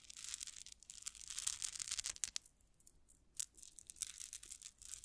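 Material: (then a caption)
Metal. A gold-toned rhinestone cup-chain tassel with small solid metal links is run through long nails and jiggled, giving a quiet, bright metallic clinking and rustling. Rapid jingling bursts come and go, with a brief lull partway through.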